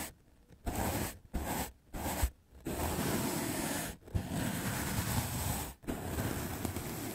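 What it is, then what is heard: Melamine foam sponge brushed. A white rectangular magic eraser block of solid melamine foam is held in the fingers and brushed fast with a large soft black makeup brush. Soft, breathy scratching and rustling strokes come in bursts broken by short silences, with longer continuous brushing toward the end.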